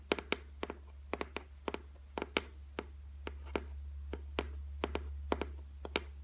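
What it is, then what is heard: Laminated shelf tapped with fingernails. Long white nails tap and scratch the flat top of a white laminated shelf made of solid board. About twenty short, dry clicks, often in quick pairs, ring out with a bright edge over a steady low hum. Each tap dies away almost instantly.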